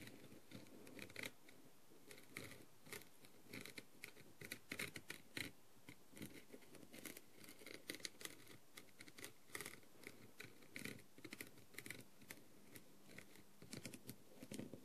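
A green plastic-tipped tool taps rapidly across the rhinestones of a blue plastic rhinestone-covered masquerade mask. The result is a quiet, continuous stream of sharp, bright clicks with a scratchy, brushing texture, each tap dying away almost instantly.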